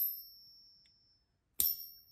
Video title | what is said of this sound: $1,500 Coin Scam Exposed: Protect Your Gold! 🪙⚠️ | a fake silver eagle with a bad ping. It resonates a little bit more, but completely and utterly fake